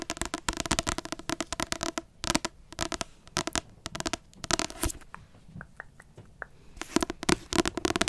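Quick bursts of crisp fingernail taps and scratches on a glossy paperback cover, dry and dead, with no ring.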